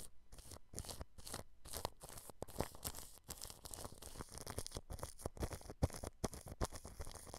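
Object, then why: Plastic cling film stretched over a microphone. A thin paintbrush brushes clear cling film stretched over the grille of a white dome microphone. Irregular crinkly, scratchy strokes are heard, each with a soft low thump and a bright rustle. They form a dense, uneven stream of close-up plastic rustling.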